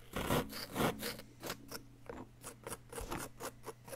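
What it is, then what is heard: Plaster block being scraped. A flat wooden chisel scrapes a solid yellow-green plaster dig-kit block up close, working to uncover an embedded item. Short, bright, gritty scratching strokes repeat at an uneven pace over a faint steady low hum. The first strokes are the loudest, and the later ones are softer.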